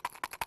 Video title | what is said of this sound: 28 июня 2023 г. | it sounds like metal on plastic